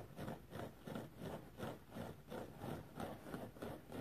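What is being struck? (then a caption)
Foam sponge. A rectangular, dry yellow foam sponge with fine pores is scratched with the fingernails of both hands. It makes a steady run of soft, muffled scratching strokes, about three per second, with a dull low-mid texture and almost no brightness.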